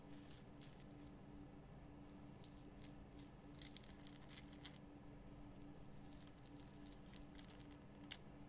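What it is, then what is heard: Himalayan rock salt lamp being scratched. Long fingernails scratch the rough crystal surface of a large, solid pink Himalayan rock salt lamp. Quiet, dry, bright crackling scrapes come in short bursts over a steady low hum, with no ring after each stroke.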